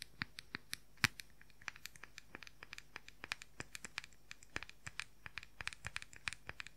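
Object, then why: Plastic powder compact. Fingernails scratch and tap the printed lid and rim of a round, palm-sized plastic makeup powder compact. Dozens of quick, dry, bright clicks with almost no ring come in an uneven rapid stream, with faint scratchy rustling between them.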